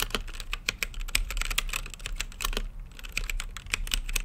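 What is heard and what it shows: Fingertips type rapidly on a mechanical keyboard with plastic keycaps and a clear acrylic lit case. The result is a steady stream of quick, bright clacks that cut off sharply, over a low, constant rumble underneath.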